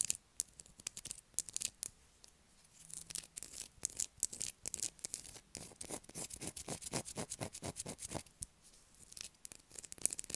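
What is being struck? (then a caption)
Solid bar of soap scratched with long fingernails. Long black acrylic nails scratch a light blue solid bar of soap held in the hands. The result is a quiet, rapid series of short, crisp, bright scrapes with little low end. A few brief pauses break the run.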